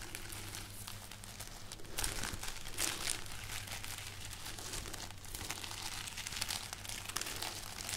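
A braid of dried red chili peppers on a string is moved and rubbed with fingers and nails close to the microphone, giving dry, bright crinkling and crackling with louder rustling bursts around two and three seconds. A steady low hum runs underneath throughout.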